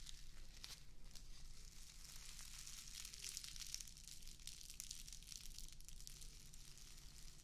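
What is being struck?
Plastic artificial grass square.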